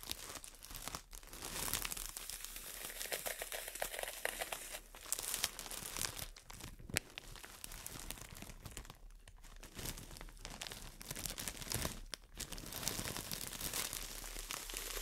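A solid, brick-sized green floral foam block wrapped in clear plastic is squeezed and scratched with long nails. Dense, bright crinkling and crunching runs continuously, with brief dips in level between bursts of scratching.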